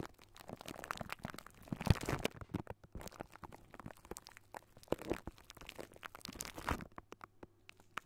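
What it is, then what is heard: Metal mesh microphone grille being scratched. Fingertips and short nails of both hands scratch a hollow silver wire-mesh metal microphone grille. The result is a dense, crackly run of quick scratches and crunchy clicks over a low, rumbling body, with brighter crisp bursts around two seconds and near the end. Each scrape stops dead with no ring.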